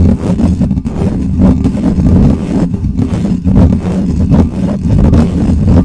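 Fingertips scratch the top of the bare, hollow metal mesh grille of a black microphone. The result is a dense, loud, low rumbling scrape with a deep boomy thump and almost no high end, surging in uneven waves.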